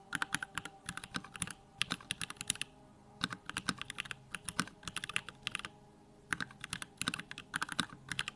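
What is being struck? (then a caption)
Mechanical keyboard with plastic keycaps. A compact 65% Bakeneko65 mechanical keyboard with Durock lavender switches, pink plastic keycaps and a dim RGB backlight is typed on with the fingertips of both hands. Quick bursts of bright, sharp key clacks with little low end and almost no ring come in flurries, separated by short quiet pauses.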